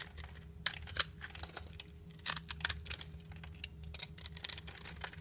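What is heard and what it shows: A solid black bar of soap is held in the hand while a blade scrapes across its scored surface, shaving off crumbly bits. Quiet, bright, crisp scraping and crunching ticks come in quick bursts, with a few louder snaps over a faint steady low hum.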